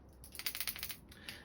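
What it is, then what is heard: Glide fishing lure rattles sounding. A glide fishing lure with rattles is flicked, producing a quick run of bright, dry clicking rattles with almost no ring. The rattle sounds good.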